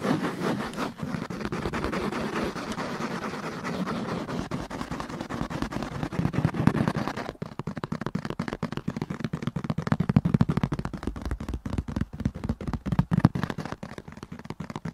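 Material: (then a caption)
Leather. Fingertips and nails scratch and tap a soft, solid grey padded leather headrest on a car seat, with a microphone held close by. For about seven seconds there is a steady, muffled scraping, then it changes to fast, uneven tapping. The taps are dull and low with almost no ring.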